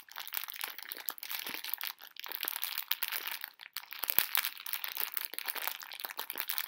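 A full pink plastic-film candy bag of conversation hearts is crinkled and squeezed with fingertips and long nails. The result is a dense, continuous run of bright, crackly crinkling with quick sharp snaps and almost no low end.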